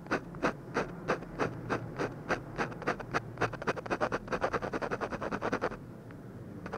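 A ballpoint pen scratches quick hatching strokes around an eyebrow on a textured paper drawing sheet, heard close-up as a run of short, dry scratches at a fast, slightly uneven rhythm that crowds together toward the middle. The strokes stop near the end, leaving a quiet pause before a faint final scrape.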